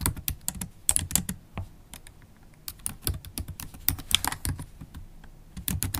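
Long black holographic acrylic nails type steadily on a MacBook Pro keyboard with black plastic keycaps set in an aluminium body. Each tap is a quick, dry click with a bright, high edge and a soft low thud underneath. The clicks fall in an uneven, continuous rhythm with brief pauses.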